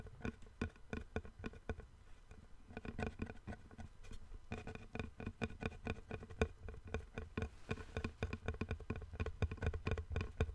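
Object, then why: Wooden plank. A long, thin, flat, light-colored solid wooden board held horizontally in both hands is tapped with fingertips and nails along its edge and surface. The result is a quick, irregular patter of short, dry knocks with a dull low body and brief bright clicks that die away almost instantly.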